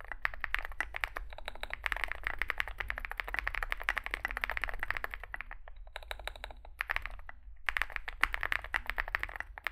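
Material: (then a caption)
Plastic. Two hands type with their fingertips on a Zoom65 65% mechanical keyboard with a solid metal case and grey and white SA-profile plastic keycaps, resting on a desk mat. A rapid, steady stream of short, crisp clacks is heard, with a bright plastic tone centered around 2 kHz. The typing pauses briefly twice before picking back up.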